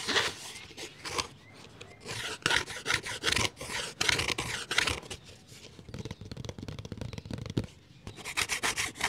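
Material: Plastic.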